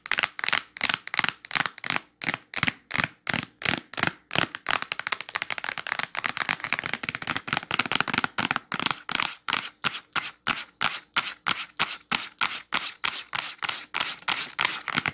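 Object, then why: Clear plastic wax melt package. Long nails tap and scratch on a clear plastic wax melt pack full of wax cubes, lying flat. Quick, irregular crisp clicks give way in the middle to denser, scratchy rustling before the tapping picks up again. The sound is bright and dry, with almost no low end and no ring after each hit.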